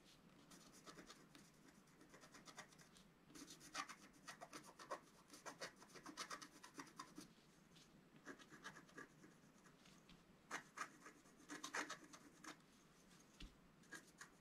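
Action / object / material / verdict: scrape / scratch art paper card with wooden stylus / coated paper / none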